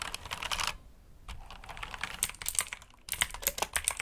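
Fingertips type on a black backlit mechanical keyboard with plastic keycaps resting on a cloth surface. Quick runs of bright, sharp plastic clicks are broken by a short pause near the first second and another brief gap before the last burst.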